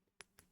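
A selenite crystal wand is tapped twice during a rock blessing, giving two quiet, sharp ticks with a faint tone near 400 Hz. Each tap is bright and brief, ringing out almost at once, with most energy above 2 kHz.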